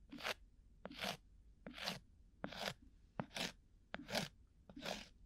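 A round, flat, solid cork coaster-sized disc is held at a microphone ear and scratched with a thin bamboo ear pick. A steady series of short, dry, crunchy scraping strokes comes roughly every 0.8 seconds, some opening with a sharp tick. The strokes are bright and airy with a little low body, and each stops almost instantly with no ring.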